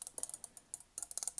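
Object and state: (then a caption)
Metal horse ornament. A small metal horse-shaped Christmas ornament is tapped rapidly with the fingernails. The result is a quick series of sharp, bright, high-pitched ticks with almost no ring.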